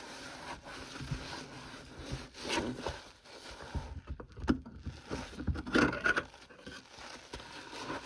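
A hand in a yellow rubber glove scrubs the soapy, foam-covered bottom of a stainless steel kitchen sink around the drain with a sponge. Irregular wet rubbing and scraping strokes come in uneven bursts, with a few brief squeaks from the sponge on the steel.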